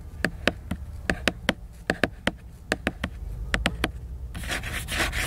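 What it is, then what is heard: Glossy laminated book cover. Fingernails work over the glossy laminated paper cover of a large picture book, producing a series of sharp, dry clicks with bright edges that stop instantly. Near the end they turn to a dense, continuous, hissy scratching across the slick cover.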